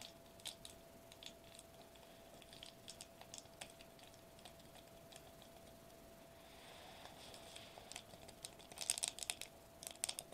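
Fingertips with short nails tap rapidly on a sheet of foil-laminated plastic bubble wrap lying flat on a table. The quiet, bright, crisp ticks and light crinkles sound over a steady faint mid hum, and the tapping grows denser and louder in the last seconds.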